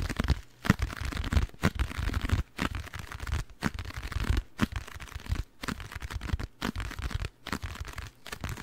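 A small blue printed cardboard packaging box, apparently hollow, is held in hand close to the mic and scratched and tapped with fingernails and fingertips. It gives a dense, crinkly scratching texture with soft, low, hollow thumps, broken by brief silent pauses between bursts.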